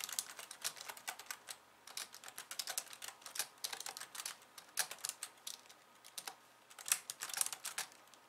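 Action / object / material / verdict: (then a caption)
tap / plastic computer keyboard / plastic / none. Long painted nails on both hands type rapidly on a pink low-profile plastic computer keyboard with white keys, resting on a wooden desk. It makes quick, bright, dry clicks and taps with almost no low end and very short decay, coming in irregular bursts with brief pauses.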